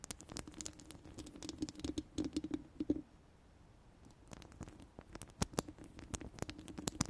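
Long orange acrylic nails on both hands scratch and tap the round steel mesh grille, a hollow mesh dome, of a large studio microphone. Quick, crisp clicks and scratchy patters come in dense bursts over a low, hollow hum. The sound falls nearly silent for about a second midway, then the tapping resumes.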